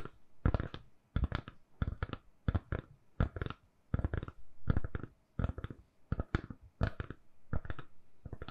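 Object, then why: Silicone-covered phone case. Long nails tap on a lilac, silicone-covered phone case fitted on a phone, a solid, hand-sized object. Quiet, dull clicks land in quick little bursts of two or three, at an uneven rhythm. Each tap stops dead with a soft, low thud and no ring.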